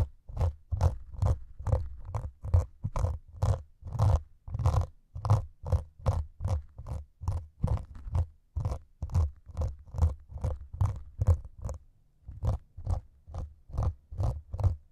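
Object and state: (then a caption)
Melamine foam sponge scratched with needles. Two metal needles held at the fingertips scratch and prick the grey foam top layer of a solid white melamine sponge. The result is a steady series of short, crunchy scratching bursts, a bit over two per second, each with a soft low thump beneath a bright, dry rasp that stops quickly.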